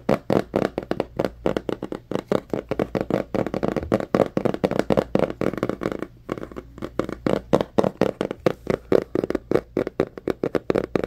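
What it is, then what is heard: Cardboard box tapped with fingertips. Fingertips and nails tap rapidly and unevenly on a small white cardboard Samsung Galaxy phone box held in both hands. The dense stream of short, dry, hollow taps sits in the low-mid range, with a brief lull just past the midpoint before the tapping picks up again.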